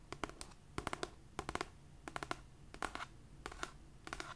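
Long nails scratch and tap on the paper cover and edge of a solid cream paperback copy of "It Ends With Us." Quick, dry, crisp clicks come in small clusters of three or four, with a faint scratchy hiss between them.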